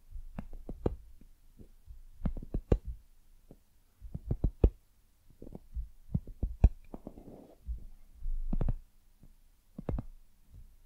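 Long nails tap and scratch the surface of a white, soft, hollow silicone dumpling lamp held close to the mic. Soft, dull, low thuds come in irregular clusters with almost no ring, broken by brief scratchy rustles.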